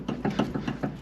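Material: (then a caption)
Plastic. With a Fiero raised on jack stands, the wheel and steering linkage are shaken by hand, giving six dull, low clunks in quick succession. The clunking comes from play in the steering rack's loose, worn plastic inner tie rod bushing, which is faulty and is being replaced.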